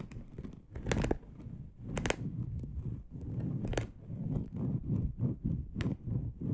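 Long acrylic nails slowly scratch a dark polyester mesh bed sheet lying loosely in soft folds. The result is a steady, low, rough rasping with a few brief bright scratchy bursts as the nails drag across the textured fabric.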